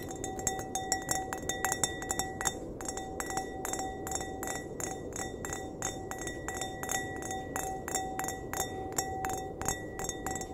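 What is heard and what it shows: An empty clear glass wine glass, held by the stem, has its bowl tapped rapidly with the fingernails. The result is a steady stream of bright, short clinks, each with a faint ringing glassy tone over a low background hiss.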